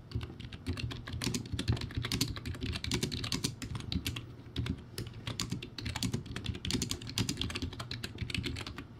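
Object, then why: Plastic keyboard with round keycaps. Fast two-hand fingertip typing on a cheap, backlit plastic typewriter-style keyboard with round white plastic keycaps. It makes a steady, rapid stream of bright, clacky key hits over a hollow, low plasticky thud. Each hit dies away almost instantly.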